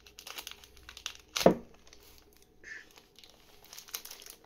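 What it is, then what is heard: Tape-wrapped parcel. Fingertips scratch and crinkle the surface of a medium rectangular parcel wrapped in dark plastic and brown packing tape, resting on a wooden table, its contents unseen. Quiet, dry crinkling and scratching run throughout, with one louder crackle about a third of the way in and a brief brighter rustle later on.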